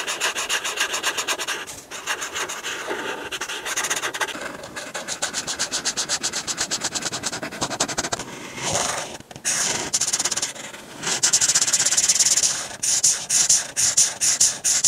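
The felt tip of a marker, held in a hand with dark painted nails, is rubbed in repeated coloring strokes across a thin, flat paper coloring book page printed with a dress-on-mannequin outline, resting on a table. It makes a steady run of quick, dry, raspy scratches with a bright, high hiss and little low end. The strokes grow louder and brighter in the last few seconds.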